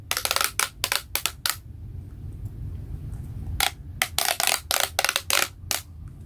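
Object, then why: Corrugated plastic pop tubes on a toy. A small hollow plastic pop-tube robot toy with a white body and pink corrugated pop-tube limbs is handled by fingers that pull the tubes out to full length and compress them. This gives bright, sharp clicking and crinkling pops in two rapid bursts, separated by a quiet stretch of low rumble.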